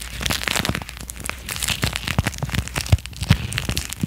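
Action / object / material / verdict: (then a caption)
scrape / thin clear plastic wrapper / plastic / none. A thin, hollow, empty clear plastic wrapper is held close to a microphone and squeezed, crinkled and rubbed with fingertips and nails. It produces a dense, irregular run of bright crackles and crisp snaps over soft, low handling thumps, each crackle dying away almost instantly.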